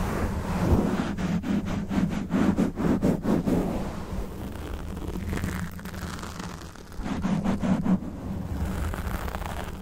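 Fingernails of both hands scratch a black foam windscreen on a Blue Yeti microphone, with the face kept at a distance. Rapid, sharp scratching strokes over a dense low, muffled rumble come in two bursts, early and again near the end, with a quieter stretch of softer rustling between.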